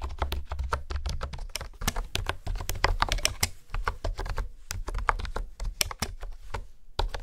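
Fingertips type quickly on a pink plastic honeycomb keyboard with hexagonal keys, producing a steady run of short, sharp clicks. Each tap is dry and dies away almost at once, with bright clacky edges over a dull, low thump.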